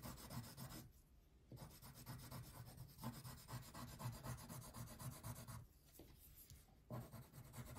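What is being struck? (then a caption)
Wax crayon on a thin paper sheet on a table. A blue wax crayon is rubbed in wide shading strokes across a thin paper coloring page lying flat on a table. It makes a steady, low, grainy scraping with rhythmic back-and-forth swells, and two short, quieter gaps where the strokes pause.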